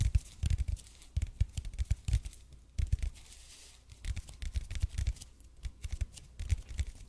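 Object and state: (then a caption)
EPP foam roller being scratched. A red and white speckled expanded polypropylene (EPP) foam roller is held in both hands close to the mic while fingernails scratch its surface. Irregular bursts of dry, rasping scratches come in quick clusters with short pauses, each stroke carrying a soft low thump beneath a brief bright hiss.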